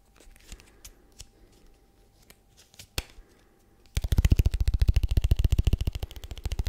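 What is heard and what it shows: A small, hollow, rigid white paperboard product box is tapped rapidly with fingertips and nails close to the microphone. The first four seconds hold only faint, scattered clicks and light taps. Then a dense, steady run of loud, hollow, deep thudding taps with crisp, bright nail edges follows until the end.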